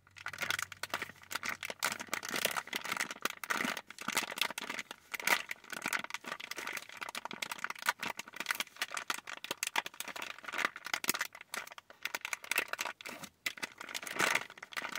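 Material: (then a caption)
Plastic. Long nails and fingertips squeeze, scratch and crinkle a full, clear printed plastic bag of cotton candy taffy for about fifteen seconds. Bright, dense plastic crackles come in uneven bursts while the wrapped candies rattle inside, with no deep tones.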